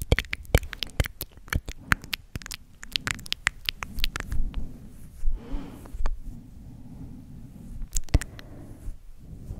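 Long acrylic nails scratch and rub the soft synthetic fur on the head and ear of a large grey and white stuffed plush teddy/koala toy held close to the microphone. Quick, dry scratchy taps and brushing come in bursts over a low, muffled rustle, with brief bright crackles.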